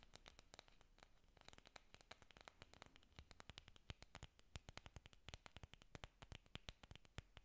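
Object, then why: Artificial foam orchid leaves. Long nails scratch and tap the surfaces of a bunch of large green artificial orchid leaves, made of foam or plastic, solid and flexible, held up close. The result is a quiet, dense run of sharp, dry clicks and scratchy taps that reach into bright highs, over a soft low rustle, with each tap dying away almost instantly.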